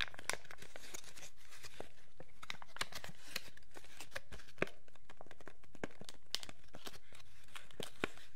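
A thin, empty, hollow clear plastic packaging sleeve is held in both hands while the fingertips crinkle and rub it. The result is continuous crackling and rustling, broken by frequent sharp, bright snaps, over a steady low rumble.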